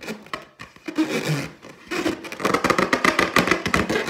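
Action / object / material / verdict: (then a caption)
scrape / inflated latex balloon / latex / none. Long teal nails scratch and tap the surface of an inflated, hollow, air-filled clear latex balloon with a gold pineapple print, held in the other hand. Soft rubbery scratching and squeaks come in uneven bursts, then turn into a busy run of quick, bright taps and scrapes in the second half.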